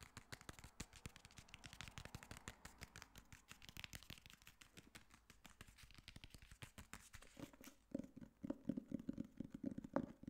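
Fingernails tap and scratch the cover and spine of a solid black hardcover copy of *The Girl on the Train*, held upright. For the first seven seconds, rapid crisp clicks and scratchy rustling run together densely. In the last few seconds, hollower, resonant knocks with a low, boxy tone ring out more distinctly.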